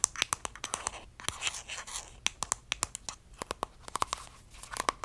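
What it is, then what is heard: Plastic squeeze tube. Long dark nails tap and scratch along a small, hollow pink plastic cosmetic squeeze tube and its cap, held in the hands. The result is a rapid, uneven run of sharp, bright clicks that die away at once, with soft scratchy rustling between taps and almost no low end.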